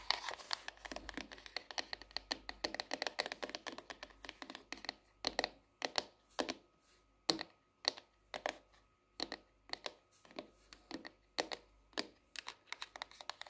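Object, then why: Hardcover notebook with cardboard cover. Long nails tap rapidly on the cardboard cover and spine of a hardcover paper notebook, a solid paper block standing upright on its edge on a wooden desk. The taps are short, dry and bright clicks with almost no low end, coming in dense flurries at first and then as sparser, more spaced-out taps.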